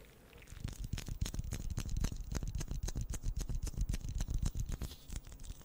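A pink plastic ball is tapped rapidly and unevenly, making a steady stream of short, dull, low-pitched taps with almost no ring. The tapping begins after a brief quiet moment and continues throughout.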